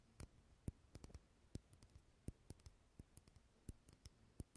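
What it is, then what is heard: Glass jar candle. Fingernails tap the walls of a small clear glass jar candle filled with solid green wax, held close to the mic. About twenty quiet, sharp clicks come in an uneven rhythm, each with a soft low thump and a bright tick that dies away almost at once. A faint low hiss sits underneath.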